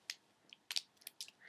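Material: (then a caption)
Liquid. A bottle of Collection 2000 Perfect Finish liquid foundation is shaken, producing a string of short, bright sloshing splashes and clicks with almost no low end. The liquid sounds like water because the foundation is thin and runny rather than thick, which is a fault in its consistency.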